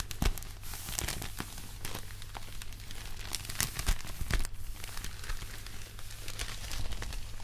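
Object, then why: Thin paper popcorn bag. White cotton-gloved hands hold and crumple an empty, thin, hollow red-and-white striped paper popcorn bag. Dense crinkling and crackling with sharp bright snaps runs throughout the clip over a steady low hum.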